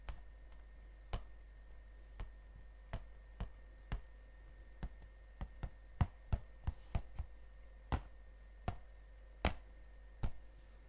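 A gold cardboard chocolate box is held in one hand while the other hand's fingertips and nails tap its face. About eighteen short, dry taps come at an uneven pace, each dying away almost at once. A steady low hum and a faint thin tone run underneath.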